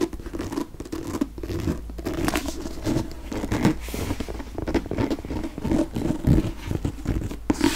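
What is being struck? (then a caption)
Hardcover paper book. Fingernails rub and scratch along the spine and back cover of a green hardcover paper book. The result is a steady, close, dry scraping and scratching texture with a low, papery body and dense repeated strokes.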